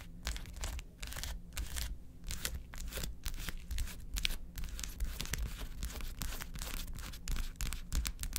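Long acrylic nails quickly tap and scratch across a large, flat blue plastic gel ice pack with many quilted gel-filled cells, lying on a table. The result is a dense stream of crisp, bright scratches and clicky taps with a crinkly, tearing edge over a steady low hum.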